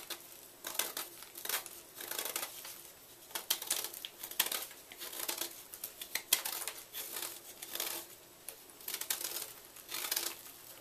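A knife blade scrapes down the face of a solid white gym chalk block held in the palm, knocking off crumbly chalk flakes that fall away. Repeated dry, bright, gritty scraping strokes crunch and crinkle in short bursts, with quiet gaps between them and no low rumble.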